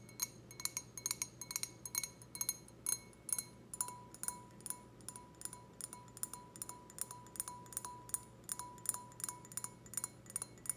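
Long red nails tap and scratch the bowl of an empty, clear, stemmed wine glass in a quick, uneven rhythm. Each tap is a short, bright clink, and a faint ringing tone lingers between taps over a low steady hum.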